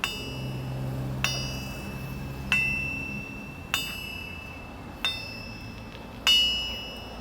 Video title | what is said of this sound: ทั่งตีเหล็ก น้ำหนัก77Kg | เสียงใสกลางวานจริงๆครับตัวนี้เสียงใสกลางวานอ่า